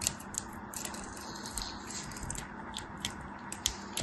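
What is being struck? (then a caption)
Soap bar cut with a metal knife. A metal craft knife cuts and scrapes pieces off a solid white soap bar, now partly carved and held in hand. Short, crisp, bright scraping clicks come at an uneven pace over a steady low hum, each dying away almost at once.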